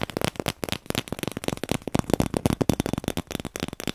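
A hollow, empty cardboard paper tube is held close to the microphone and tapped rapidly with the fingertips. The result is a fast, uneven patter of short, dry, hollow thumps with a low-mid resonant tone and almost no ring after each tap.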